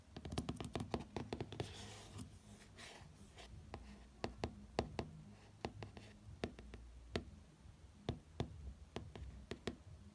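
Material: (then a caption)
Cardboard. A fingertip traces and taps the glossy front cover of a hardcover book. Many short, dry taps come in quick clusters, mixed with soft scratchy tracing strokes over a low steady hum. The taps stop almost instantly with no ring.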